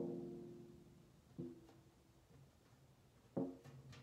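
A large, hollow, round Harry London metal cookie tin with a printed lid is drummed and tapped on the lid top with long nails and fingertips. Three separate resonant, drum-like hits are heard, each ringing at a low-mid pitch near 270 Hz and fading slowly. A faint high tick trails the last hit.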